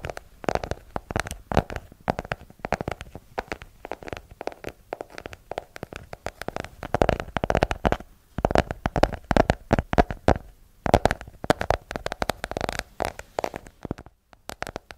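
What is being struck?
Hardcover book.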